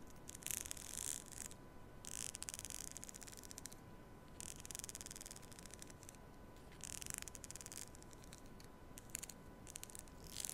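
Long nails strum and scratch across the teeth of a black plastic comb held horizontally at the microphone. It produces bursts of bright, rasping clicks in clusters, separated by short quiet gaps. A faint steady tone near 1 kHz sits under a low, constant noise floor.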